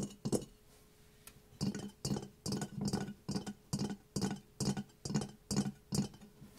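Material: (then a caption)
Ceramic. A ceramic mask is tapped for ASMR, giving short, clinking, glassy taps with a brief ring. A single tap comes first, then after a pause the taps continue in a steady run of quick bursts.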